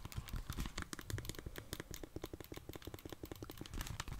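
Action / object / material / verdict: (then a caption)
tap / plastic handheld game console / plastic / none. Long dark-painted nails tap the back and sides of a plastic Nintendo Switch console with Joy-Cons and press its buttons. The result is a rapid, steady stream of short, dry clicks and taps with a soft, low body and brief bright edges that die away at once.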